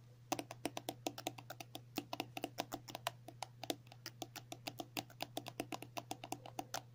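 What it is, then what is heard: Plastic cosmetic tube. Long natural nails tap and scratch a filled 50 ml pink and white soft plastic cream tube. Quick, steady, sharp clicky taps with a dry, bright edge stop instantly with no ring. A faint low steady hum runs underneath.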